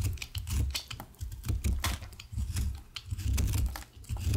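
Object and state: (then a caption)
Bar of soap being shaved. A utility knife blade repeatedly shaves and scrapes a solid, pale green-blue bar of soap held in the hand, cutting it into curls. The strokes come as irregular bursts of crisp, bright scraping and crackling over a dull low thud, each stroke dying away quickly.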